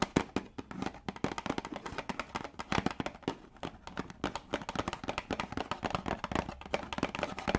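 A small yellow printed cardboard tea box, hollow with contents inside, is held and tapped with long dark nails. The rapid, irregular taps are short, dry clicks with almost no ring, varying in loudness throughout.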